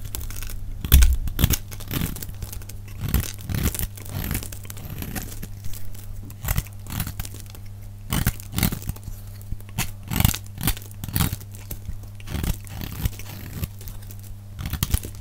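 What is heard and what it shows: A hand-held, hand-sized solid yellow rectangular bar of dry soap is scraped and cut with a metal utility-knife blade, shedding crumbly yellow shavings, with the sound played back at double speed. Rapid, short, dry crunching and tearing scrapes with bright edges come in quick irregular bursts over a steady low hum.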